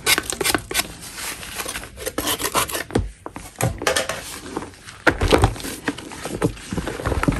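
A gloved hand scrapes a solid block of chalk with a metal putty knife, producing a continuous rough, gritty rasping with short crackly bursts. Repeated strokes run throughout, with a few louder scrapes standing out and some brief quieter gaps between passes.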